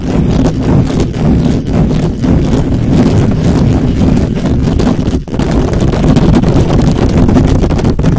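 Fingertips and nails of both hands quickly scratch and tap the hollow, perforated metal mesh head of a black microphone. The result is a dense, continuous, loud rumbling scrape, heavy in the low end with a thumping character, that barely lets up except for a brief dip about two thirds of the way through.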